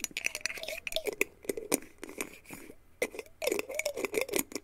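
A small, clear, mostly empty glass jar with a black plastic screw lid is held in both hands while fingertips and nails tap and scratch its glass body. The result is a quick, uneven patter of bright, sharp clicks and brief scratchy rasps, each dying away almost at once, with a faint hollow ring beneath them.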